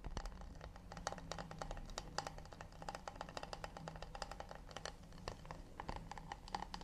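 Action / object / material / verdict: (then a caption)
tap / acacia wood plate / wood / none. A round acacia wooden plate is held in one hand while the nails of the other hand tap and scratch its rounded underside. The result is a fast, steady stream of short, dry clicks with a slight woody ring near 800 Hz, interspersed with soft scratching over a low background rumble.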